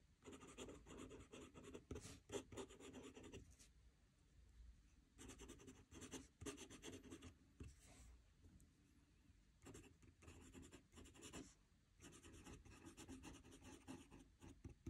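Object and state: Pen nib writing on notebook paper.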